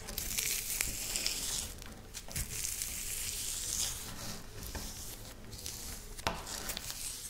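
Dry, crushed wafer biscuit crumbs on a pinkish speckled surface are scooped, rubbed and crumbled between long-nailed fingers, then scratched through the pile. The result is a continuous bright, crackly crunching and rustling with scattered sharp crinkles and scratches.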